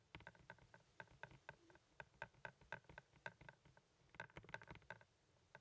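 Fingertips and nails tap quickly on a hand-sized, hollow blue plastic Blu-ray movie case held in the hand. The result is a steady patter of short, crisp clicks, each with a hollow ring around 1.5 kHz and brief high edges.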